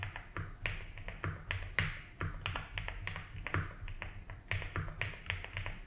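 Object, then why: Mechanical keyboard with ABS plastic keycaps. A compact blue and white Rainy75 mechanical keyboard with doubleshot ABS keycaps on a polycarbonate plate, in a hollow-sounding case resting on a felt desk mat, is typed on steadily with the fingertips of both hands. The repeated key taps come as quick, clacky hits with a bright top and a deep, hollow low thump around 94 Hz. Each tap dies away fast over a soft, steady low hum.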